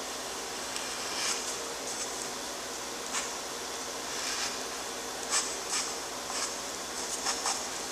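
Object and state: Nothing is struck.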